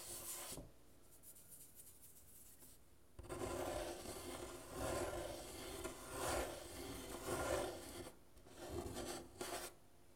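Fingers and nails scratch and rub across the painted wooden soundboard of a half guitar near the bridge, its thin hollow body picking up the strokes. Dry rasping bursts come in uneven waves with bright hiss and a hollow midrange resonance, separated by quieter gaps.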